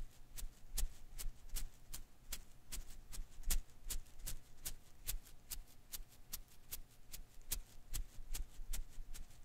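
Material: Rubber.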